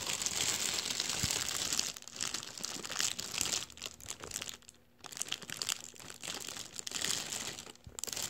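Fingers press into a deflated, empty blue metallized mylar star balloon, crinkling its thin foil folds. The clip is a dense, bright crackling and rustling that comes in irregular bursts, with brief quieter gaps near the middle and end.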